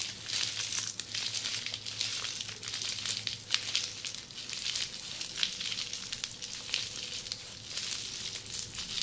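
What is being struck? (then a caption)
Plastic bubble wrap. Long polished fingernails of both hands scratch a large mound of red, air-filled plastic bubble wrap resting on a table. The result is a steady, bright crinkling and rustling with dense, sharp little ticks and scrapes that swell and fade in waves. A faint low hum runs underneath.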